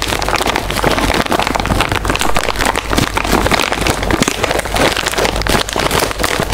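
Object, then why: Metallized plastic snack bag. A small, full, sealed metallized-plastic chip bag is held in both hands while fingertips and long nails crinkle and rub it. The result is a dense, continuous crackling rustle, broad and bright, staying steadily loud throughout.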